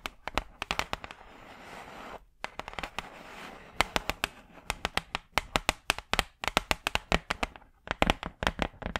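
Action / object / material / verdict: tap / thin hardboard clipboard / hardboard / none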